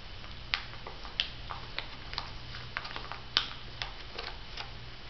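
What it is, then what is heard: Plastic foil sachet tapped with nails. Long nail tips tap a filled, flat olive-print plastic and foil Missha sheet mask packet held in both hands. The result is a steady series of light, bright ticking taps, centered around 3 kHz, that die away almost instantly over a faint low hum.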